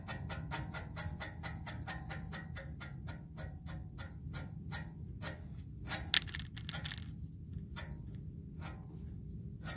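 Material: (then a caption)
Metal. Fingernails tap rapidly on the textured, hollow black metal tube of a music stand pole, giving a string of quick, bright metallic pings with a thin ring near 3.4 kHz. The taps come steadily at first, then slow and scatter toward the end. A steady low rumble sits underneath.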